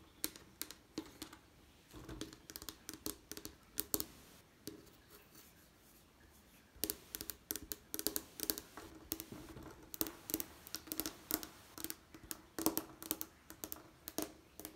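Fingertips and long grey painted nails tap and scratch across a large wall-mounted leaded stained glass window, a flat, solid panel of coloured textured glass panes joined by lead strips. Rapid, bright clicks and dry scratches come in dense bursts, each dying away almost instantly over a faint low-mid hum, with a quieter stretch of softer scratching midway before the tapping picks up again.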